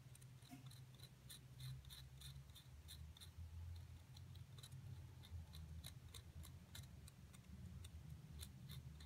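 A solid plaster excavation block is rapidly scraped and picked with a thin metal seafood pick inside its dug-out cavity, crumbling the plaster while a hand with long nails holds the block. Quick, crisp, bright ticks and scratches sit over a steady, quiet low rumble.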